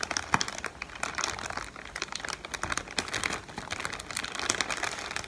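A strip of several clear plastic-film air pillows, inflated and hollow, is held up in both hands and crinkled and squeezed with the fingertips. The result is dense, bright crinkling with rapid, sharp crackles and small snaps, rising and falling continuously and with almost no low end.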